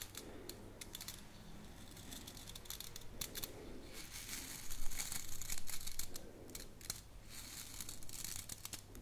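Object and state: Wooden brush with natural bristles, scratched.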